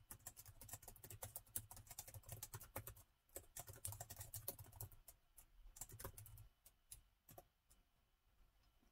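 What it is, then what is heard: Laptop keyboard with plastic keys. Fingertips of both hands type on the black plastic keys of a gold metal-look laptop with a hollow body, making quick, bright, dry clicks that barely ring. The typing is rapid and steady for about five seconds over a low hum, then thins to scattered, softer taps until the end.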